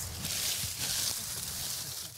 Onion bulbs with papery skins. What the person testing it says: une future bonne conservation quand on les voit craquer comme ça